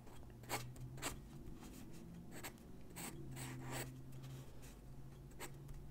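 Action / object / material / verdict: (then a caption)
scrape / paper sheet drawn on with a graphite pencil / paper / none. A graphite pencil sketches lines across a single white sheet of drawing paper resting on a wooden desk. Short, bright, scratchy strokes rise above a low, steady hum, and the scratching stays quiet and dry throughout.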